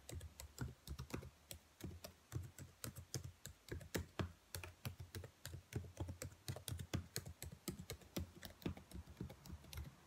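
Long nails type and tap on the black plastic keys of a dark laptop keyboard, making a rapid, irregular run of short clicks and clacks. Each hit has a low thump under a bright click and dies away almost at once, with about 49 separate taps across the clip.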